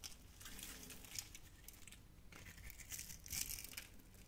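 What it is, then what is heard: Bar of soap being carved. A utility knife blade carves cubes off a solid, yellow, opaque, hand-sized soap bar with embossed lettering and a grid-scored surface. The cutting makes a steady run of crisp, crunchy crackling and scraping, bright and dry with little ring, swelling slightly louder toward the end.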